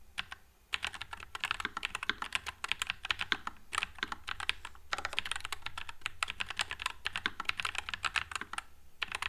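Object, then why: Mechanical keyboard with plastic keycaps. A white low-profile NuPhy Air96 mechanical keyboard with Wisteria switches and plastic keycaps is typed on with the fingertips of both hands. Rapid, bright, short clacks run almost continuously for about nine seconds, with only brief gaps. Each keystroke dies away almost instantly over a faint low hum.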